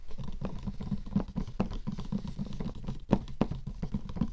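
Long nails tap quickly along the lid surface and edge of a closed, hollow light-blue cardboard gift box. The result is a rapid patter of short, dry, dull taps with a hollow low tone around 200 Hz and almost no brightness.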